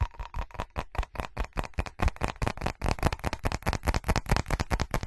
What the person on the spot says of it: FAST Tapping & Scratching On Ceramic [No Talking]